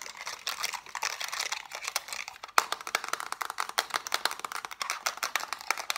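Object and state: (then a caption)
Plastic TV remote control. Fast tapping with long nails and fingertips on the rubber buttons and casing of a black plastic TV remote control gives about three dozen quick, sharp, dry clicks. The clicks are bright and high-pitched, with almost no low end and no ring, and they come in rapid bursts with a brief pause partway through.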